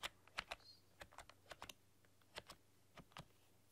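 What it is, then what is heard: Plastic computer keyboard being typed on. Long dark-polished nails and fingertips type on a full-size plastic computer keyboard with black keycaps and a rainbow backlight, pressing and clicking the keys. About fourteen sharp, bright key clicks come in an uneven rhythm, each dying away almost instantly against a quiet, steady background.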